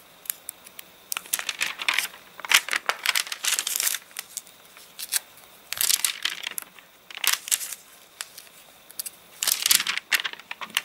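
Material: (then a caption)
Paper. Both hands lift, crumple and turn the stiff, crinkly pages of an open, rain-warped, rain-dried paper catalogue with their fingertips. Bursts of bright, dry crackling and crinkling come in clusters, separated by brief quiet pauses.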